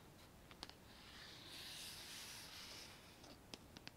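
Long nails tap and scratch the outer wall of a hollow, medium white painted metal plant pot with a lace-pattern cutout rim, held in the hands and filled with makeup brushes. A few short, bright clicking taps come first, then a soft, hissy, high scratching swell, then more quick taps at the end, six sharp taps in all. The sound is quiet, thin and dry, with almost no low end and no ring after each tap.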